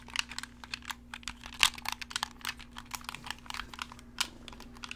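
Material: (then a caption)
Plastic. A black, hollow, wired plastic gamepad is held in the hands while fingertips click its buttons and triggers and handle the shell. About two dozen quick, bright plastic clicks and taps follow one another with almost no ring, over a faint steady low hum.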